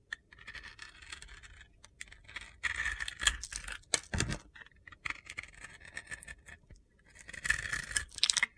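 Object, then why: Bar of soap. A utility knife blade scrapes and shaves the side of a handheld, solid pink and black glitter-coated bar of soap. Bright, gritty scratching and crunching strokes come in bursts, with louder passes around the middle and again near the end.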